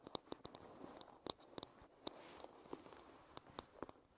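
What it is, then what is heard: Wooden hairbrush. Long red nails tap and scratch along the wooden back and edge of a light-wood paddle hairbrush. Thirteen sharp, dry clicks stand out over a soft, bright scratching rustle, each tap dying away almost instantly with very little low end. The sound stays quiet and close throughout.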